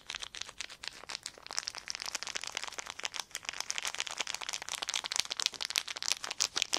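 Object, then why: Thin clear plastic film. A wad of clear plastic film is squeezed and crinkled between the fingertips, giving a dense run of sharp, bright crackles and snaps. The crinkling is continuous and fast-paced, with almost no low end and each crackle dying away instantly.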